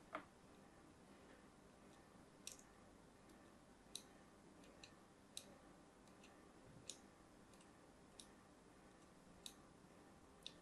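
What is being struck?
Bar of soap scraped with a small metal blade.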